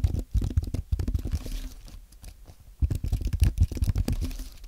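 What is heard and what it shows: Fingertips type on a compact white aluminium and plastic Apple keyboard, producing rapid, soft, low thumping key taps with short, dry clicks. The typing comes in two busy bursts separated by a quieter, sparser stretch in the middle.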